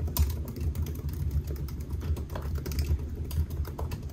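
Fingertips of both hands type on a solid silver aluminium laptop with black plastic keys, resting on a white desk. A quick, steady run of soft key taps sits over a constant deep low hum, with brief bright clicks flicking through.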